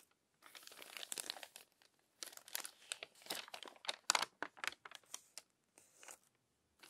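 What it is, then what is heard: Crumpled paper magazine. Long-nailed fingers turn the crinkled glossy pages of a crumpled paper magazine lying open. Dry, bright bursts of crinkling and crackling paper come in uneven clusters, broken by brief silences.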